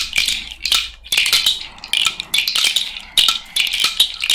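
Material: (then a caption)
Shell. A cowrie shell bracelet hangs on the fingers and is shaken so the hollow shells rattle against each other. It makes irregular bursts of bright, dry clicking, centred around 2.9 kHz with almost no low end. Each burst fades quickly before the next shake.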